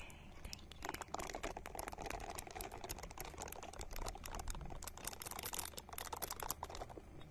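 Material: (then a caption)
Silicone. Long nails scratch a small, hand-sized, solid-looking purple silicone ball held in front of the microphone. The result is a fast, steady stream of dry, crisp taps and scratchy clicks with bright edges over a faint low hum.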